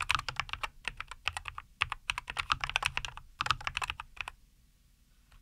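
A compact 75% NuPhy Air75 V2 mechanical keyboard with a white case, green-and-white plastic keycaps and linear Cowberry switches sits on a wooden desk, and both hands type continuously with their fingertips. Quick, bright, clacky keystrokes with a low thock beneath follow one another rapidly, each dying out almost instantly. The typing stops a little past four seconds, leaving near silence broken only by a faint tap at the very end.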